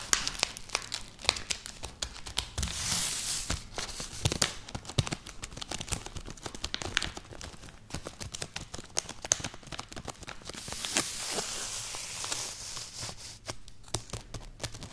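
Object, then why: Plastic snack wrapper. Long natural nails scratch, tap and rub across a small, full, sealed plastic Grisbi wafer wrapper lying flat on a mat. The sound is dense, bright crinkling and crackling, with many sharp taps over soft swells of rustling, and no talking.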